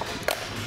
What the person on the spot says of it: Новый шкив, когда его вот так слегка бросаешь, то есть он такой глухой звук от него идет